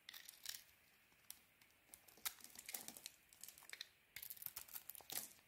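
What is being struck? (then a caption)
Soap bar scraped with a metal blade. A metal blade scrapes and carves crumbly flakes off a solid, palm-sized white soap bar with a pink coating, held in the hand. The sound is a series of dry, crinkly scraping bursts, bright and crackling, with almost no low end. Short quiet gaps fall between strokes, and a denser burst of scraping closes the clip.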